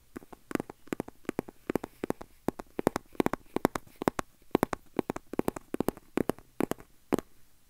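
A small, hand-sized red printed cardboard box with a black panel, hollow and likely empty or lightly filled, is held in the hand and tapped and scratched with fingertips and nails close to the mic. It makes a quick, uneven run of dry, hollow taps with a low-mid body around 270 Hz and a bright edge, each dying away instantly. Faint scratching fills the short gaps between taps.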